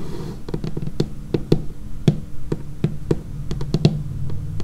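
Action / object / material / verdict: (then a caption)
tap / laminated wooden tabletop / laminated wood / none. Long painted fingernails tap along the edge and surface of a dark laminated wooden tabletop in a quick, uneven rhythm. Each tap is a short, dull knock with a low body and a faint crisp click at the start, dying away almost instantly.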